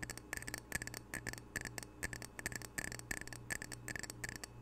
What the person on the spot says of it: Gentle tapping, scratching, and rubbing of ceramic coasters with unique art representing the Pacific Northwest.